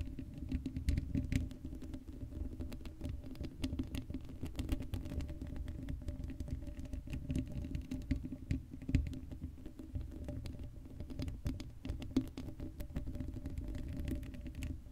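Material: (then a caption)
Metal mesh. Long blue acrylic nails on both hands scratch across the black woven metal mesh grille of a hollow Blue Yeti microphone head with no foam cover. The result is a steady, dense patter of rapid scratchy ticks and crackles over a deep, boomy rumble that lasts the whole clip, with occasional sharper clicks standing out.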